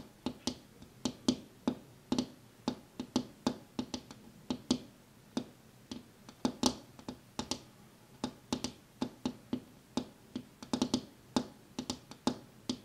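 A glass window pane is tapped with one hand in a steady, uneven run of quick, sharp taps. Each tap is a short, bright click with a faint low knock around 250 Hz and almost no ring. The taps come in small clusters against quiet background noise.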